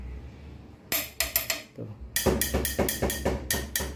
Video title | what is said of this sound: Penasaran‼️ Detailing + cek kondisi rangka bagian depan, Apakah masih aman❓️- Vario 150 led old | lebih berisi gitu tuh. Jadi bukan kayak yang apa bahasanya kopong gitu guys, jadi ya emang berisi gitu